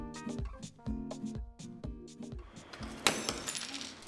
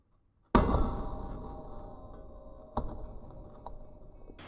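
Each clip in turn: First: Over steady music, a sharp bright crash near the end, then crackling glass: an ordinary pane shattering. Second: A heavy steel ball slams onto tempered glass with a ringing clang; no shattering follows, the pane holds.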